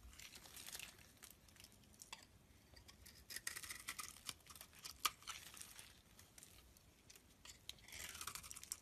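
A utility-knife blade scrapes and shaves flakes off a solid mint-green bar of soap held in the palm. The result is quiet, bright, crisp scraping and crackling with short bursts of louder strokes, sharp little snaps, and almost no low end.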